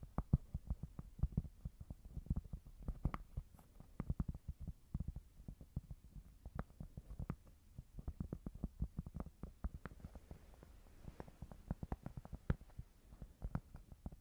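Tapping on a cork board produces a rapid, irregular series of dull, muffled thuds. The thuds are low and soft with almost no ring, fading almost instantly after each tap.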